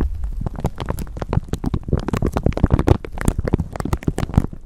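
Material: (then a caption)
Plastic. A thin clear plastic bag stretched over a microphone is crinkled and scratched with long nails, and the microphone underneath may add handling noise. Dense, rapid crackles and crinkles run throughout over a heavy low rumbling thump, with bright sharp snaps cutting through.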